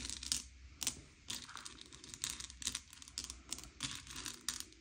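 Fingertips slide and push a pile of small, hard, sugar-shelled M&M's candy-coated chocolates across a grey plate, sorting them by colour. The candies make bright, crisp clicks and rattling scrapes in quick, uneven bursts, each fading almost instantly.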